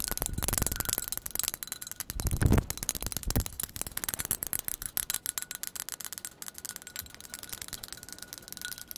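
Long pointed acrylic nails tap quickly on a white ceramic "Cup of Sunshine" coffee mug with a handle, hollow and apparently empty. A rapid, dense stream of sharp, short clicks and light rattling taps runs throughout, with a few heavier knocks near the middle before the tapping continues more lightly.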